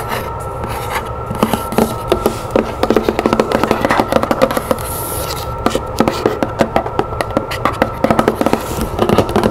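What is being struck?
Cardboard box.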